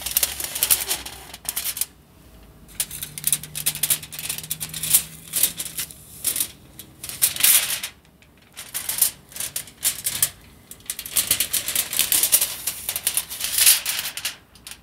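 A roll of aluminium foil on a tube, with a sheet partly unrolled, is held in the hands while fingertips and nails tap and scratch the roll and crinkle the foil sheet. Bright, crisp crackling and rapid dry ticking come in dense bursts, separated by brief near-silent gaps. The sound is almost entirely high-pitched, with very little low end.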